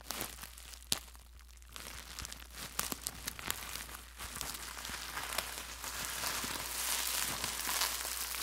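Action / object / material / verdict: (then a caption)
scrape / plastic bubble wrap sheet / plastic / none. A clear plastic bubble wrap sheet is held close to the microphone and scratched and rubbed with fingertips, giving dry, bright crackles and sharp ticks over a faint steady low hum. Toward the end the sheet is crumpled, and the sound swells into a denser, louder, hissing crinkle.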